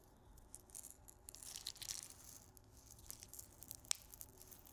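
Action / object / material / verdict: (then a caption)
shake / glass grinder bottle with salt crystals / glass, salt / none. A small clear glass salt grinder with a black cap, full of pink salt crystals, is turned and shaken in the hands. The crystals give a quiet, bright, crisp rattle in uneven bursts, with one sharp click near the end.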